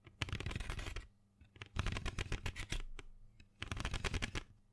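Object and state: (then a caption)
Cardboard box of colored pencils. A small printed cardboard box full of colored pencils is held in the hand and tapped and scratched with long fingernails. Three bursts of rapid, dense clicking and scratchy tapping are separated by short quiet pauses. The sound is dry and close, with a hollow, low-heavy thump under bright scratchy clicks that stop without ringing.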